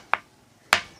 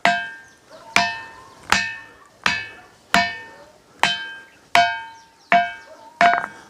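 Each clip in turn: First: Two short, dry knocks with no ring, the dull click of ordinary stone. Second: Nine sharp strikes on a boulder, each ringing out with a clear bell-like tone near 700 Hz.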